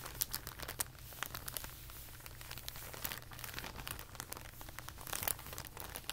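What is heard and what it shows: A thin clear plastic packaging bag with a label and a white insert is flattened and rolled up by both hands on carpet. It gives a dense, continuous crinkling with sharp, bright crackles over a steady low hum.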